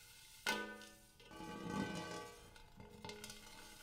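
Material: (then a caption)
Metal. Fingertips rub, scratch and tap the dimpled inside of a large, empty, hammered brass-colored metal bowl. A sharp tap sets off a bright, harmonic ring that fades quickly, followed by a rising swell of scratchy rubbing. A few lighter taps near the end bring back the shimmering metallic tone.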